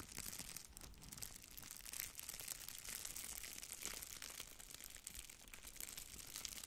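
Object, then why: Plastic bubble-wrap strip. A thin strip of red plastic bubble wrap is held between both hands while the fingers pull and crinkle it. The result is a steady, quiet, dense crackling and crinkling with bright, high-pitched texture and faint low rustle underneath, without distinct separate hits.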